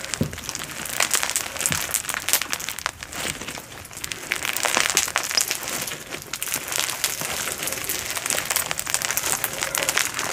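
A solid blob of glow-in-the-dark foam bead slime, glowing under UV light, is squeezed and kneaded between two hands with long nails. The beads give off a steady stream of bright, dense crunching, crackling and popping, with soft sticky squelches throughout.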